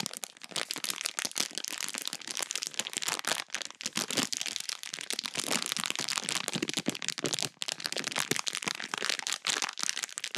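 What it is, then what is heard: Plastic bag of crunchy slime. A full small clear plastic bag of pink crunchy slime chunks is squeezed and crinkled with fingertips and long nails. The sound is a dense, continuous crackling and crunching, bright and crisp with almost no low end. It keeps going steadily with brief dips for about ten seconds.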